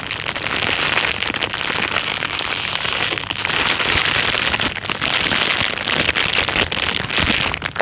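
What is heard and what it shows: A thin, clear plastic bag lies flat and is rubbed and scratched with the fingertips. It makes a steady, dense, bright crinkling and rustling, full of quick, sharp crackles with almost no low end. The texture stays busy and even throughout, with only brief dips.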